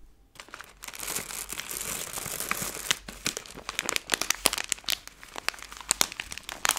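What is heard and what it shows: A hand-sized Skittles candy bag made of plastic film is flexed and crinkled with fingertips and long nails. A dense, bright crinkling rustle builds over the first few seconds, then breaks into sharper, separate crackles and snaps with little low end.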